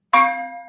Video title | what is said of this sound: ArtStream! 6-8 Visual Musical Scores with Kathie Hsieh, Lesson 1 | You can hit it, and it makes this really pretty ringing sound.